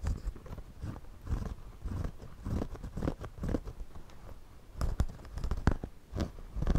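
A wooden pencil is drawn across the brim of a white, wide-brim woven straw floppy hat worn on the head, scratching the woven straw surface. The result is a series of dry, crunchy scratching strokes, heavy in low, dull tones, with brief brighter ticks and no ring after each stroke.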